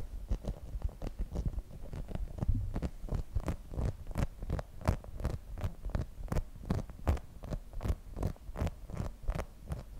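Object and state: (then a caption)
Rubber spiky massage ball. Long nails tap and scratch a hand-sized, translucent grey rubber spiky massage ball, probably hollow, held close to the mic. Quick, somewhat irregular taps land at about three per second, each a short, dull thump with a brief bright click on top. Soft scratching fills the gaps between taps.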